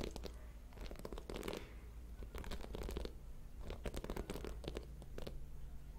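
A purple and white plastic paddle hairbrush with a dense bed of metal pin bristles is held in one hand close to the microphone while fingertips and nails scratch and strum across the pins. The result is a run of quick, dry, crackling scratches and plucks in irregular bursts with almost no ring, over a low, steady rumble.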